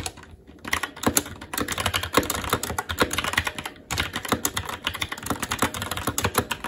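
Fingertips of both hands type continuously on a SteelSeries Apex 7 TKL mechanical keyboard with red linear switches, black plastic keycaps and an aluminum plate. Rapid, crisp key taps clatter in a steady stream with short, dry clicks and a bright edge. The typing pauses briefly at the very start and just before the four-second mark.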